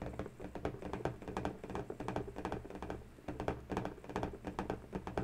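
Long bare natural fingernails tap rapidly and irregularly on a hollow, air-filled, inflated pink latex balloon, while a second, small uninflated balloon is held at its knot. Each tap is a soft, dull, hollow knock with a low-mid body near 440 Hz, little brightness, and a very short ring that dies away almost at once.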